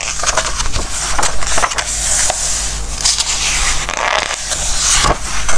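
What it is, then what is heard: Glossy paper book pages. Fingertips rub across the glossy pages of a Christmas book filled with text and photos, then turn them. The result is a steady, crackly rustle with bright papery swishes and soft slides as each page moves, all over a constant low hum.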